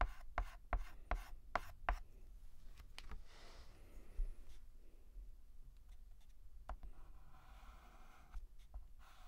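White chalk held by hand is written across a black chalkboard, with rubbing and scratching strokes. It opens with a quick run of sharp, dry taps, then settles into softer, uneven scraping, ending with a few more brisk strokes.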